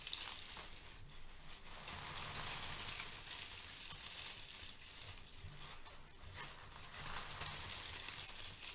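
A pile of brown crinkle-cut kraft paper shred is rubbed and squeezed by hands with long nails. A soft, continuous rustle and crinkle fills the clip, with bright, hissy texture and a faint low rumble underneath. The steady level shows no separate hits.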